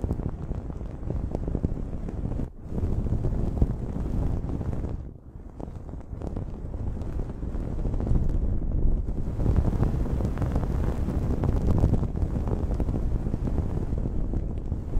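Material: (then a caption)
Cotton. Long nails scratch a blue cotton terry cloth towel draped over a microphone, producing a dense, continuous low rumbling scrape with little high content. The scratching briefly drops out around 2.5 and 5 seconds, then grows steadily louder and stays busy through the end.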